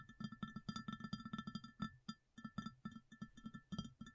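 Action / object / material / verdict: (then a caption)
tap / ceramic plate / ceramic / none. Long fingernails tap quickly on an empty, large round white ceramic plate, about 27 taps in rapid bursts with a brief pause near the middle. Each tap is a short, sharp click with a low knock and a faint bright ring that dies away almost at once.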